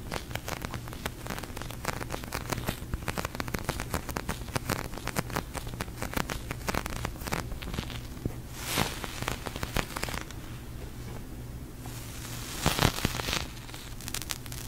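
Long nails and fingertips tap and press a large, soft, pink sticky polyurethane foam squishy toy, giving a dense stream of quick crackling, sticky peeling sounds over a steady low hum. Brighter, louder peeling bursts stand out around 9 and 13 seconds.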